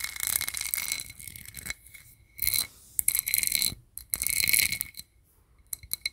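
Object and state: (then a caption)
Embossed metal disc. A round, hand-sized, flat gold-colored disc with a raised sunburst pattern, probably a metal lid or coaster, is held close to the mic and tapped and scratched with fingertips and nails. Bursts of bright, crisp, high-pitched scratching and clicking taps come with short pauses between them, with almost no low end and no lingering ring.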